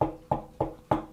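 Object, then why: Tabletop. Four knocks on a solid, dense table, evenly spaced about 0.3 seconds apart. Each is a short, hollow-sounding rap with a woody midrange tone that dies away quickly, and no high brightness.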